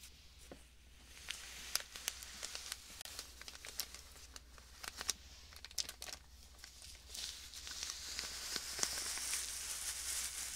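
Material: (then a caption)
Plastic, sand. A small clear plastic bag filled with fine white sand is held beside a binaural microphone and squeezed and crinkled with fingertips. The result is bright, irregular crinkling with sharp crackles over a faint low hum, growing into a denser, hissy rustle toward the end.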